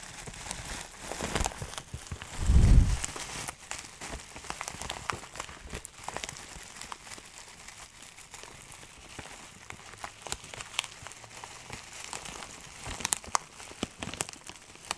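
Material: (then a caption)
Plastic. A clear plastic bag filled with small dried herb granules is held in both hands in front of a microphone while the contents are squeezed and rubbed with the fingertips. Soft, steady crinkling and gritty crackling continue throughout, with a louder, deeper rustling surge early on before settling back into quiet, scattered crackles.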